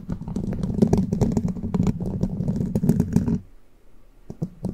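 Long plastic witch-finger nail caps on one hand rapidly scratch and tap the hollow, rounded metal mesh grille of a large condenser microphone from above. A dense, uneven flurry of clicky taps and scratches with a heavy low-end thump lasts about three and a half seconds, then drops to near quiet with a few scattered bright taps at the end.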